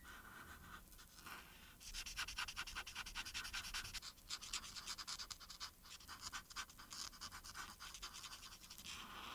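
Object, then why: Felt-tip marker on a thin paper sheet. A felt-tip marker held in the hand rubs back and forth over a thin printed paper coloring sheet lying flat, colouring in the shoes. After a soft, quiet start, rapid, uneven scratchy strokes begin at about two seconds, bright and papery. They continue in quick bursts to the end.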